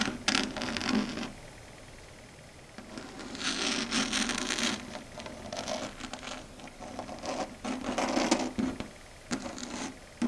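Long red stiletto nails tap and scratch across a flat dark grey chalkboard surface. Irregular bursts of bright, gritty scraping and rubbing rise and fade, with a steady mid-low tone running under them and brief quieter pauses between strokes.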